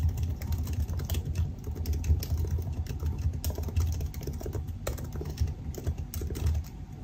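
Both hands type continuously with their fingertips on the black plastic scissor-switch keycaps of a silver aluminum laptop resting open on a desk. The hollow keys give a dense, steady stream of short, soft taps with a deep, muffled low-end thump and little brightness.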